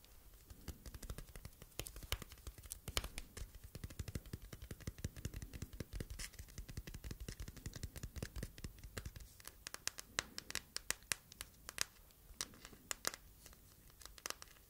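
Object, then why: Hard plastic phone case. Long nails tap and scratch the smooth surface of a transparent hard plastic phone case filled with star glitter. Dense, fast clicks and short scratches sound close, with sharper, louder taps standing out later on.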